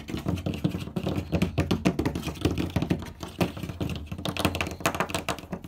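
Both hands tap rapidly with fingertips and nails on the large, flat panel of a light wooden door. The result is a fast, uneven stream of dull, low knocks mixed with brighter nail clicks, each dying away almost at once.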